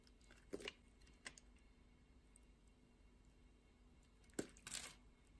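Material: Soap.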